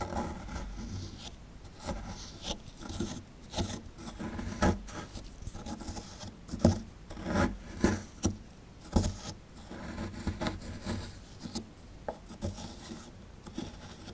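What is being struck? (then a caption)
Plaster block scraped with a plastic chisel. A plastic chisel scrapes the plaster inside the dug-out hollow of a solid plaster fossil block held in the hand, loosening powder. Dull, gritty scraping and rubbing strokes repeat throughout, with short, sharper scrapes standing out now and then. The sound is low and muffled, with little high-end brightness.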